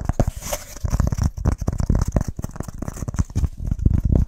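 A flat, solid, brown scored BBQ firelighter slab of pressed wood fiber is tapped and scratched fast with fingertips and nails. The result is a rapid, dense patter of short, dull, low thumps with almost no ring, topped by a faint, bright scratchy texture.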